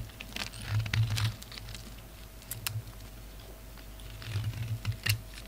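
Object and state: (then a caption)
Bar of soap being scraped. A palm-sized oval bar of solid soap with a dark red shell and black core, held in the hand, has shavings scraped off it with a pink utility knife blade. Three bursts of crisp, crackling scrapes with bright, brittle clicks sit over a steady low hum and a faint constant tone.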